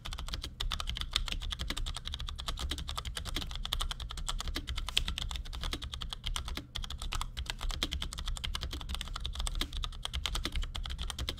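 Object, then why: Plastic mechanical keyboard. A compact black plastic Cherry G84-4100 keyboard with ML switches rests on a desk and is typed on with the fingertips of both hands in quick taps. The result is a rapid, steady stream of short, dry plastic clicks with a bright clack on top, each dying away almost instantly over a constant low rumble.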